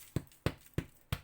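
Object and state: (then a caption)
Hollow-sounding, fully baked bread loaf. A freshly baked Marmite bread loaf, just taken out of the oven after 30 to 35 minutes, is tapped four times, giving short, dull, low-pitched hollow knocks with almost no ring. The hollow sound shows the loaf is cooked and ready.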